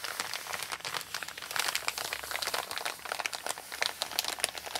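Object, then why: Kraft paper mailer bag. Long nails and fingertips scratch and rub a flat, empty brown kraft paper Amazon mailer with a shipping label while both hands rest on it. The result is a steady, dense stream of dry, bright crinkles and scratchy ticks with no low rumble and almost no ring after each sound.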